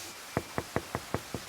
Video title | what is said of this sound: Entre ces murs : le jardin botanique de Besançon | il a la caractéristique d'avoir un tron creux quand on tape dessus, ça fait du bruit